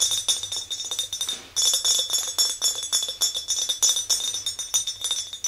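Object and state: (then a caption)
Glass jar mug. Long nails tap an empty clear glass mason jar mug, held by its handle, in a rapid, uneven run of light taps. Each tap gives a bright, high glassy clink that dies away quickly, with a short break in the tapping just before the middle.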